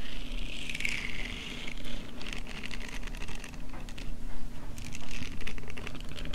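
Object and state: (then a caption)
Silicone face scrubber. A palm-sized, flat, soft pink silicone face-scrubbing pad covered in short bristle nubs is held in the hands and brought close while long painted nails scratch and tap across its bristled surface. The result is a steady stream of soft, crinkly scratching and light patter, with bright, brushy bursts over a low, muffled rumble.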